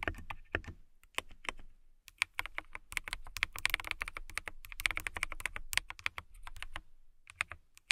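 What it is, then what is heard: Acrylic mechanical keyboard being typed on. Long nails type quickly on a clear acrylic mechanical keyboard with a transparent acrylic case and clear keycaps. The rapid, bright clicks and clacks carry a ringing tone near 2.2 kHz over a faint low thump. Bursts of typing are split by a few short pauses.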